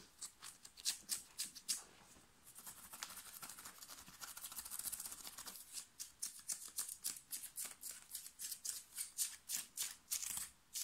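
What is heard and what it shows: Fingernails scratch fast across a thin, worn, light blue cotton t-shirt at the shoulder and upper chest, making bright, dry, high scratching strokes with almost no low end. Quick separate strokes open the clip, blur into a steady rasping rub in the middle, then return as rapid sharp bursts to the end.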